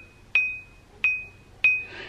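An abrasive stone wheel for a bench grinder, with a 5/8 arbor, is tapped lightly with a finger three times in a ring test. Each tap gives a clear, high ring near 2.5 kHz that fades quickly. The wheel rings, which shows it is good and uncracked.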